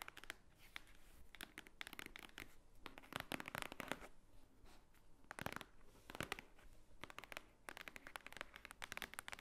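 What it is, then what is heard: Thick paper book. Long painted nails tap and scratch the top cover of a large, thick, white-edged book, a solid stack of paper lying flat on a wooden table. The result is a quiet, dense run of dry, bright clicks and papery scratching bursts that stop instantly with no ring.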